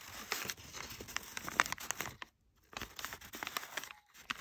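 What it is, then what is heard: Kraft packing paper. A large sheet of crumpled brown kraft packing paper, thin and flexible, is rubbed and crinkled by fingertips with short nails. Dense, dry, bright crackles and crinkles come in quick bursts, with a brief silent pause midway before the crinkling resumes.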